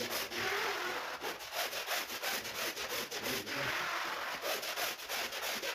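A push brush scrubs a large, wet, soapy woven rug lying on a marble floor, its bristles stroking across the pile. The result is a steady, bright, scratchy rubbing hiss that swells and fades with each back-and-forth stroke, about three strokes per second, with almost no low end.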